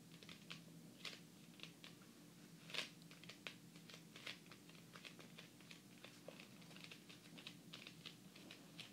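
Fast fingertip and long painted fingernail tapping from both hands, in a typing-like pattern, across the glossy laminated cardboard cover of a large, solid, closed hardcover fairy tale book lying flat. The clicks are short, sharp and bright with almost no ring, over a steady low hum, and a few stand out louder than the rest.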